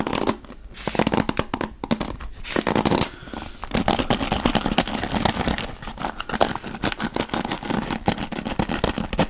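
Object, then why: Wooden paddle hairbrush with bristles. A wooden-backed paddle hairbrush with dark bristles, held in one hand, has its bristles scratched and tapped with the fingers. The result is a dense run of crisp, bristly scratches and quick taps with a bright, papery edge and short decays, rising and falling in loudness throughout.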